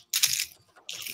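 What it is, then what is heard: Rattling crankbait fishing lure. A red plastic Smart Tanker crankbait fishing lure is shaken so its internal rattle sounds. Two short bursts of bright, high-pitched clicking and clinking are heard, separated by a brief pause.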